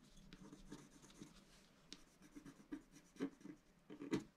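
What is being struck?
Scratch-art paper sheet scratched with a wooden stylus.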